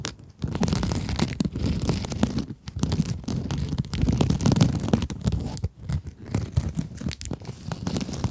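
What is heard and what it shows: A small pink scrub sponge with glittery mesh is scratched with long acrylic nails, giving a continuous dense crackling, scratchy rustle with low-heavy body. The sound runs in busy bursts with brief dips, never settling into a steady tone.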